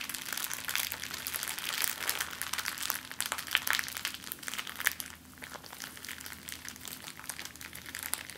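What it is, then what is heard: Crinkled plastic bag. An empty clear plastic zip-lock bag is balled up, squeezed and crinkled between the palms and fingers. It makes a dense, bright crackling of many quick, sharp crinkles, with a steady faint low hum underneath. The crinkling is busiest in the first five seconds, then eases to a softer, sparser rustle.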